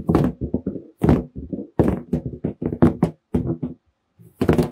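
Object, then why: Inflated latex balloon. A large, hollow, air-filled red latex balloon is held in both hands while fingertips tap and drum on its surface. The result is a quick, uneven run of dull, hollow thumps with a low-mid body and very short decay, pausing briefly near the end before a final cluster of taps.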